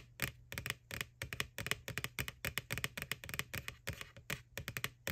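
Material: Plastic.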